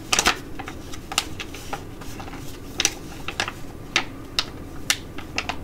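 A filled tea-tree foil sheet mask pouch is scratched and tapped with long nails and crinkled in both hands. Sharp, bright crackles and clicks come in irregular bursts over a faint steady low hum.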